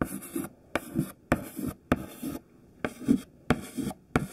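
A thin white stick of classroom chalk, held in the fingertips, writes text on a black chalkboard in continuous scratching strokes. Seven separate bursts of dry, gritty scratching are heard, each opening with a sharp tap of the chalk against the board and trailing off into a soft, brief scrape before a short pause.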